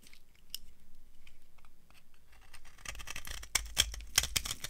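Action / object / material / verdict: scrape / bar of soap scraped with a knife / soap / none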